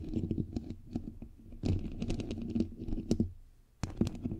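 Long pink nails and fingertips of both hands tap and scratch the bare grille of a rounded, hollow, white perforated metal microphone head held up close. A rapid run of short, dull, low-heavy taps and scratchy clicks comes in bursts, with a brief lull near the middle and a near-silent gap before a final flurry. Each tap dies away almost instantly.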